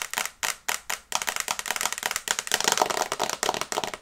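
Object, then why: Smartphone glass screen. Long nails tap on the glass screen of a small flat smartphone in a teal and brown case held in both hands. A few spaced, crisp clicks give way to a rapid, dense run of bright, dry taps with almost no ring.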